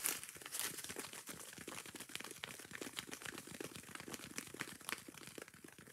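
Long nails scratch quickly and roughly across a yellow foam kitchen sponge, first on the soft foam face and then on its green abrasive scouring pad. The result is a dense run of dry, bright crinkling scrapes and clicks with very little low end.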